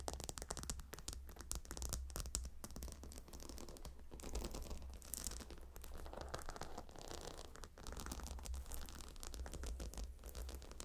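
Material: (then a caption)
Stone. Long nails tap and scratch across the glossy stone tiles of a gemstone hot stone pillow in a quick, continuous run of dry clicks and scrapes. The sound is quiet, with a steady low hum beneath it.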